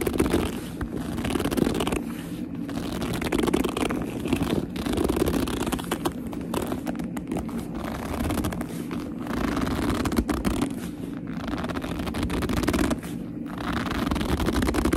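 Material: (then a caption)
Leather. Long nails scratch and grip the front of a black leather purse up close, giving a continuous stream of squeaky, crackling scrapes. The sound stays dense and low-heavy with little bright content, rising and falling in short bursts throughout.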